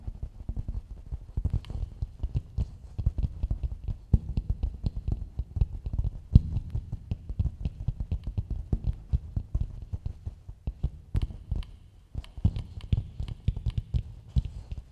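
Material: Coconut shell.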